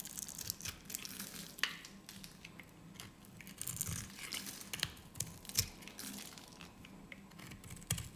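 A solid green soap bar held in the hand is scored and shaved with a metal utility blade, and small soap cubes fall away. Quiet, dry scraping and crisp cutting clicks repeat throughout. The sound is bright and hissy, with a low hum underneath.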